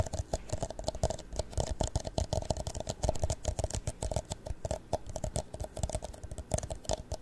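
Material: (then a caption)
Plastic. A tall, empty, hollow clear plastic cup is held in both hands and rotated while fingernails tap and scratch its sides. The result is a rapid, uneven stream of short, dry clicks with a hollow tone around 630 Hz, a low thump beneath, and faint high scratching between the taps.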